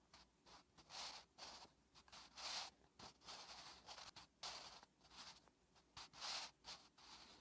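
A wooden graphite pencil held in the fingertips writes Korean letters on a thin lined notebook page resting on a flat surface. The graphite scratches across the paper in a quick series of short, bright, hissy strokes with brief pauses between them. The sound is soft and almost entirely high, with no low-end body.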